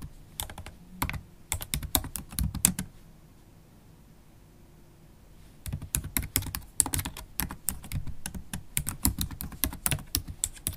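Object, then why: Laptop keyboard with plastic keys in a metal body. Long acrylic stiletto nails type on a MacBook Pro keyboard of black plastic keys set in an aluminium body, producing rapid, sharp, bright clicks. A steady burst of typing stops for about three seconds of near silence, then resumes as another flurry of crisp key taps.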